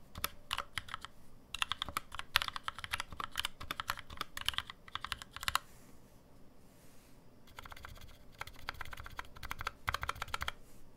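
Fingertip typing on a black NovelKeys NK65 65% mechanical keyboard with an aluminum case, lubed NovelKeys Cream switches and plastic keycaps, resting on a deskmat. Quick bursts of crisp, bright clacks with a soft low thock come in runs, pause for about two seconds, then resume as the hands spread wider near the end.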